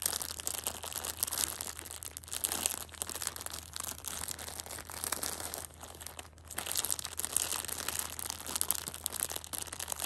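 A full Shopkins pocket tissue multipack in clear plastic overwrap is held in the hand while long painted nails squeeze and scratch the crinkly plastic. The result is a dense, continuous, bright crinkling and crackling with little low end, easing briefly around six seconds before growing louder again.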